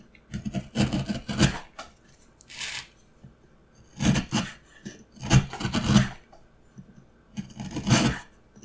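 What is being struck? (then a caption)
Pine wood block and steel gouge. A steel carving gouge held in the hand cuts and scrapes a solid, light pine wood block stood on its side. Short, dry rasping strokes come in clustered bursts with quiet pauses between them, each stroke a bright scrape over a low, woody body that stops almost at once.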